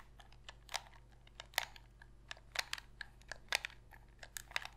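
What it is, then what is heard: Plastic game controller tapped with fingernails. Long pink fingernails tap, click and press the buttons of a black Sony PlayStation controller made of hollow hard plastic and held in both hands, and scratch along its plastic shell. About sixteen sharp, bright, dry clicks and taps come at an irregular pace, quiet overall, with a faint scratchy rustle between them. Each click dies away at once with no ring.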